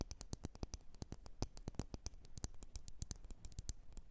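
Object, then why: Glass candle jar. Long nails scratch and tap the sides of a lit, wax-filled red glass candle jar. Rapid, uneven clicks with bright high ticks ride over a low thump, and soft scratching fills the gaps at a quiet level. Each tap dies away almost instantly.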